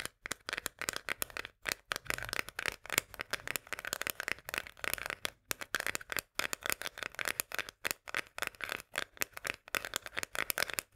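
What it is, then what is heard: Metal food can. Long fingernails rapidly tap and scratch the top rim and upper side of a full tinplate corn can held upright. The result is a quick, uneven run of bright, dry metallic clicks and scrapes with almost no ring or low end, broken by brief pauses.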